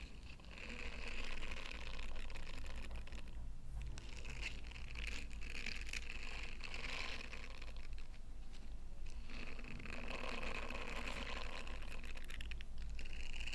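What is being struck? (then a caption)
Silicone scrubber with bristled face. Long pale nails scratch and rub across the bristled, textured face of a small, flexible, solid yellow silicone star scrubber with a loop on top, held in both hands. The result is a dense, continuous, bright scratchy rustle over a steady low hum, with brief softer dips before the rubbing picks up again.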